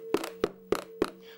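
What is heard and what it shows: Four short, dry knocks on the stock loudspeaker resonance chamber of a Blast City arcade cabinet, the 8-ohm, 20 W speaker to the left of the screen, each with a quick hollow tone around 350 Hz that dies almost instantly. A steady low hum runs underneath. The chamber sounds hollow, judged as no good and in need of an audio upgrade.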